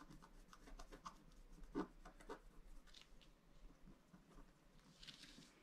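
A pointed wooden stylus scratches lines into the coating of a thin black-coated scratch-art card lying flat on a table, held down by one hand. Soft, dry scraping strokes come in a quiet, uneven series, with one louder scratch near the middle, over a faint low hum.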